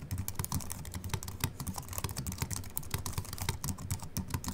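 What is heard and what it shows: Fingertips type continuously with both hands on a slim Apple Mac keyboard with an aluminium body and white plastic keys. The result is a steady stream of quick, soft key clicks with a low, muted thump under each press and short bright ticks on top, each dying away almost at once.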